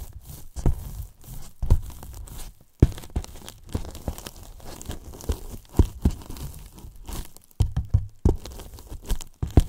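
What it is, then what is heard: Polyethylene foam box. Wooden brush handles scratch and tap the sides and top edge of a large white hollow polyethylene foam box. The result is a steady run of dull, deep, short knocks mixed with dry squeaky scraping and crinkly rubbing, with almost no high end and no ring after each tap.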